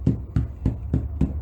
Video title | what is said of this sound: How to make homemade bread for beginners - Easy | smack the bottom to see if it sounds Hollow